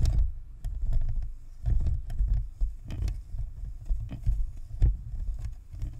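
Long nails tap rapidly on the top of the white, hollow, spherical plastic shell of a Blue Snowball plastic and metal USB microphone, giving quick typing-like clicks. Up close, the taps come through as a pattering stream of deep, muffled thumps, with brief brighter ticks on the sharper strikes. Each tap dies away almost at once.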